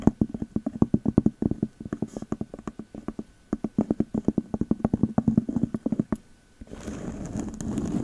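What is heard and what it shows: Long metal claw nail covers tap quickly on the round cork lid of a glass candle jar, apparently full of wax and labelled "Magic Berries" home fragrance, held close to the microphone. Dozens of short, dry, woody knocks with a low hollow tone come in quick bursts, then stop briefly. The clip ends with a steady rough scratching across the cork.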